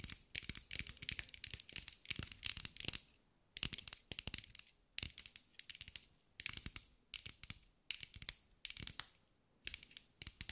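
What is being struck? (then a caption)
Glass mosaic ball tapped with fingernails. A green mirror-glass mosaic sphere, held in the hands, is tapped and scratched with long acrylic nails. Rapid, bright clicking taps come in quick bursts separated by brief pauses, each tick crisp and dry with almost no ring, mixed with light scratchy textures.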